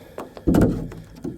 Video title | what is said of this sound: Hull Reinforcement Sponson Tips, Tunnel & Transom Carbon Fiber Inlay MHZ 57" Bulgarian Cat Build | You can hear it sloshing around in there.